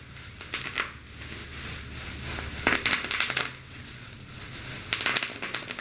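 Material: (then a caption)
Plastic. Fingers squeeze clear plastic bubble wrap laid over a keyboard, popping the bubbles. Bursts of sharp, bright crackling pops come in three clusters, with a quieter crinkling hiss between them. Each pop is short and dies away almost instantly.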